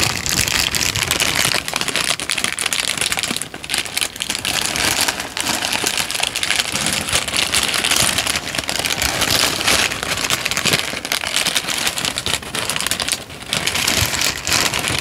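A wrinkled, thin peach paper sheet is crumpled and shaken in the hands, making a steady, dense crinkling and crackling that is bright and hissy with almost no low end. The texture stays fairly even throughout, with brief softer dips around 3.5 and 13 seconds.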